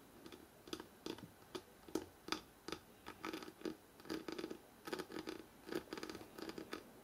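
Fingertips and short nails scratch and tap quickly along the stacked paper page edges on the fore-edge of a thick, closed hardcover book held upright. The result is a fast, uneven series of dry, papery scrapes and soft taps, each with a low-mid body near 320 Hz, a bright rasp on top, and almost no ring.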